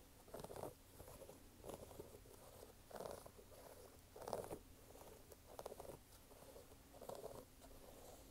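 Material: Canvas.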